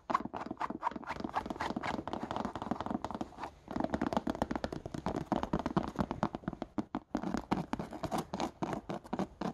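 Long painted nails quickly scratch and tap along the suede side and the textured, patterned rubber sole of a single, hollow, empty brown suede slipper with a chunky knit cuff. A fast, uneven run of dry scratches and short taps plays out, mostly in the mid range with little low end and a brief pause near the seven-second mark.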